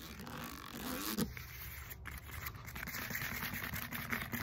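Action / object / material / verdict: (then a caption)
scrape / textured foam roller / foam / none. Long fingernails quickly scratch and tap the knobs of a black textured foam roller with a hollow core. A dense, steady run of scratchy, zipper-like scraping mixes with soft hollow taps, carrying a low body under a bright, crackly edge.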